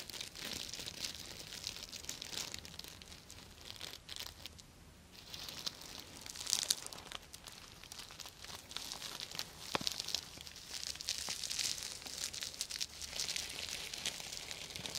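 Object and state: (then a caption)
Sequin fabric pouch. Long nails scratch and stroke the plastic sequins of a soft, hollow purple and teal reversible sequin fabric pouch, flipping them back and forth. The result is a steady, bright, crinkly rasp with dense clicking ticks and a brief quieter lull around the five-second mark.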